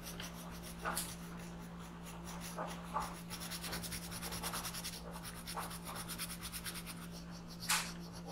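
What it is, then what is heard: Pencil coloring on paper. A black pencil tip scratches and rubs in small circles on a thin paper coloring page lying flat on a desk, filling in an alien's eye. Soft, continuous papery scratching is heard, with a few sharper, brighter strokes standing out over a steady low hum.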